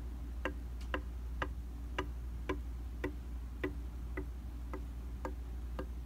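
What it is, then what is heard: Glass mirror tapped. A round glass tabletop makeup mirror of solid flat glass is tapped with the light-colored tips of a small black-handled tool. Each tap makes a short, bright tick that dies away almost at once, falling into a quick, steady tick-tock rhythm over a constant low hum.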